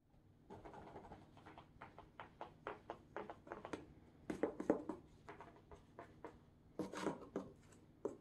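A medium, hollow, sealed Amazon corrugated cardboard box wrapped in tape is tapped with hard black plastic claw tips on plush costume gloves. Quick, irregular dry taps and light scratches sound in an uneven run, with a few louder clustered bursts. Each tap dies away almost at once.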